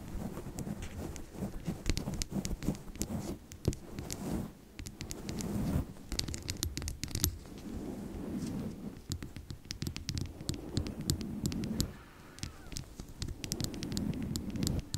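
Long nails tap rapidly on a small, hollow blue glass serum bottle with a bamboo collar and a dropper. The result is a dense stream of short, sharp clicks over a soft, low-pitched patter, with brief pauses between bursts.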